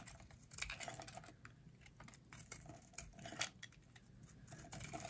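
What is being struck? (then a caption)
Soap bar carved with a metal blade. A metal blade carves flakes off a solid, hand-sized, shaped bar of dry green soap held in long-nailed hands. Quick, dry, bright scraping crunches and clicks come in an irregular run over about five seconds, each dying away almost at once. A faint low hum sits underneath.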